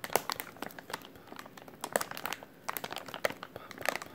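A white plastic-film packaging pouch with printed text is held in both hands while the fingers squeeze and crinkle it. Quick, dry crackles and snaps come in irregular bursts, bright with almost no low end, each dying away at once.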